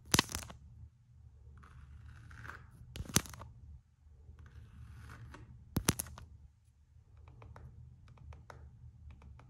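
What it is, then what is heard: Coated canvas slide sandal, tapped and scratched. Long nails and fingertips tap and scratch the coated-canvas strap of an empty Gucci slide sandal made of coated canvas and rubber. Sharp, dry taps land at intervals between stretches of soft, bright scratching, with short clicking strokes near the end over a steady low hum.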